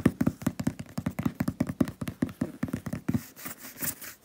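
Several fingertips with painted nails tap quickly on the top of a medium hollow cardboard shipping box with a paper label. About 21 soft, dull, hollow knocks come in an uneven rapid flurry, each dying almost at once. After about three seconds they fade into lighter, brighter brushing sounds.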